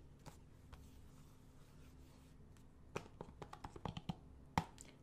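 Fingernails tap the spine and edges of a thin, hollow blue plastic PS4 game case held in the hand. A couple of faint taps come first, then a quick, uneven run of sharp, dry clicks that stop almost instantly, with one louder tap near the end. A quiet, steady low hum sits underneath throughout.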